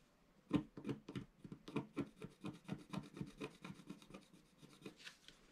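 A pointed wooden stylus, held in the fingers, scratches a flat, about A4-size black-coated scratch-art sheet over rainbow foil lying on a table. The result is a quick, uneven run of about twenty short, dry scraping strokes. It ends with a softer, brighter hiss.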